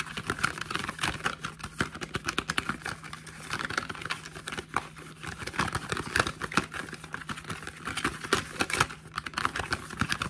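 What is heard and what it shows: A small, hollow, printed cardboard product box is held in the hands while fingertips and nails tap and scratch its printed faces and ends. Quick, dry taps and papery scratching come in dense, uneven bursts with a bright edge and almost no ring, over a faint steady low hum.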